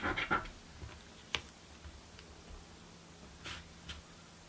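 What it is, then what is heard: Paper scratch card scraped with a coin. A coin scrapes the scratch-off panels of a blue paper scratch lottery ticket. A quick cluster of rough, bright scratches opens the clip, followed by a few short, sharp scrapes separated by quiet gaps, over a faint low steady hum.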